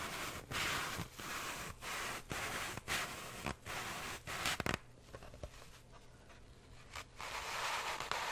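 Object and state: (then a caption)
Floral foam block. Wooden toothpicks are pushed into and pulled out by hand from a solid grey floral foam brick, already full of holes, held beside the mic. Soft, bright crunching pokes come in short scratchy bursts, then ease into a quieter stretch of faint clicks before the crunching picks up again near the end.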